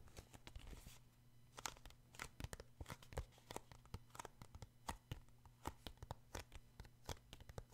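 Fingertips tap and scratch the glossy card cover of a paperback book, making quick, dry clicks and brief rustling scrapes with bright edges. A faint, steady low hum runs underneath the quiet, irregular tapping.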